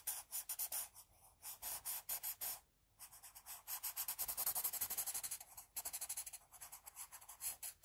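A pink wooden pencil, held low, shades hair on a flat sheet of drawing paper with rapid back-and-forth strokes. The graphite rubs and scratches the paper surface in a quick train of bright, hissy strokes. There is a brief pause near the three-second mark, and the strokes grow denser and louder toward the middle.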